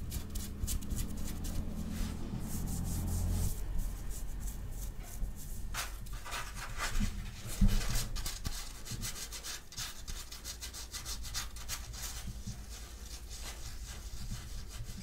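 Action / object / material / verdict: scrape / cotton fabric shirt / cotton / none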